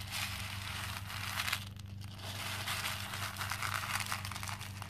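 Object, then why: Small plastic pearl beads in a plastic bowl. Small cream plastic faux pearl beads fill a pink plastic bowl while two hands rub across the surface and scoop them up. The beads clink and rattle together in a dense, bright crinkling stream over a steady low hum.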